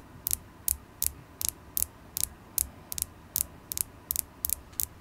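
A solid polished carnelian crystal point held in the fingers is tapped with long acrylic nails, giving 13 quick, bright, dry clicks at a loose, uneven pace. Each tap is sharp and very short, with a faint low thump under it and almost no ring.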